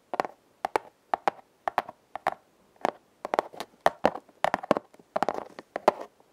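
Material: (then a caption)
Cardboard. A flat, hand-sized red corrugated cardboard heart, likely a hollow heart-shaped box, is held upright and scratched across its ribbed surface with long nails. Quick, dry scratching strokes with a papery, mid-pitched rasp and a bright edge come in short pairs at first, then in denser, rapid clusters toward the end. Each stroke stops almost instantly with no ring.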